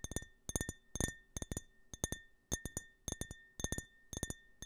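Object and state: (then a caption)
Glass tumbler tapped with fingertips and nails. Fingertips and nails tap and scratch the printed surface of a small, empty glass tumbler with a US flag print, held sideways in front of the mic. Rapid clusters of bright, glassy clinks ring with a clear tone near 1.8 kHz and high shimmering overtones. Each cluster fades quickly into quiet between bursts.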